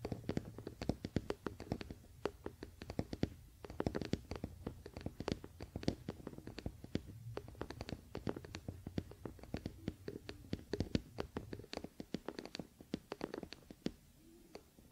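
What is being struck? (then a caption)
Wooden paddle hairbrush back. Both hands scratch with fingernails across the solid wooden back of a wooden paddle hairbrush near the neck of the handle, as the brush rests on a blanket. The result is a steady stream of quiet, dry, rapid scratching ticks with very short ring, layered over a soft, low, continuous rumble throughout.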